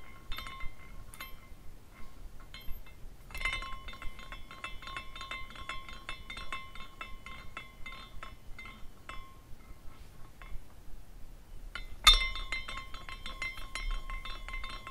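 A small clear glass carousel ornament rotates, and its glass horses and pole knock together in bright, short clinks. A few scattered clinks give way to a dense run of high tinkling that thins out and briefly pauses. A sharper, louder clink then restarts the steady glassy jingling over a faint low rumble.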